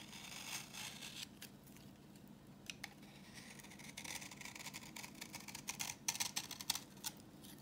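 A solid, translucent orange bar of dry vintage soap is held in the hand and scraped with a utility knife blade, coming off as crumbly yellow shavings. The scraping gives quick, dry, crackly strokes, mostly high and bright, with a low steady hum underneath. The strokes grow denser and louder toward the end.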